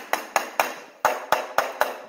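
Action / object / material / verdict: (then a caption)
tap / concrete slab floor / concrete / hollow. Seven sharp taps along the wall line of a concrete slab floor ring out with a hollow, mid-pitched tone, each decaying quickly. The slab sounds very hollow, indicating a void where a footing should be under a load-bearing wall.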